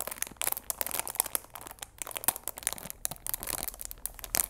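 Fingers squeeze and crinkle the clear plastic film wrapped around a cardboard chamomile tea box, working at its sides. A steady run of bright, dry crackles and crunches comes in quick, closely packed bursts that stop almost instantly, with little low end beneath them.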